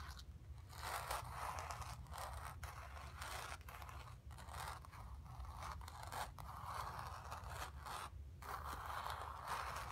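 Long nails scratch across a square, acrylic-painted stretched canvas on a wooden frame, hollow behind and resting on carpet. The result is a steady, dry, papery rasp centered in the mids, broken by brief pauses between strokes. A constant low hum sits underneath throughout.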